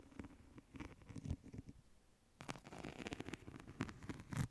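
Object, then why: Woven wicker clutch bag. A small, flat woven wicker or rattan clutch or pouch is held in both hands close to the microphone and scratched and tapped with long nails. The result is a quiet stream of soft, dry, crackly scratches and quick taps that are heavy in the low end, with a short lull in the middle before the busier scratching resumes.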